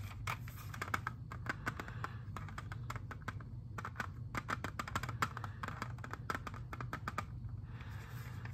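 Fingernails tap and scratch on a hand-sized, hollow, clear plastic CD jewel case holding a disc as the case is rotated in the hands. Rapid, dry clicks with a bright edge come in uneven bursts and fade almost instantly, while light scratching fills the gaps. A steady low hum runs underneath throughout.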